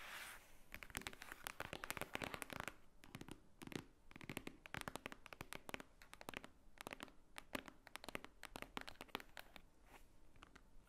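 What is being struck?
Thick paper book.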